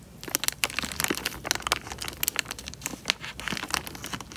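Fingertips squeeze and crinkle the thin film of a small clear plastic bag full of water, making the water slosh with bubbles. Quick, bright crinkles and crackles tumble over one another with little low end, each snap dying away at once.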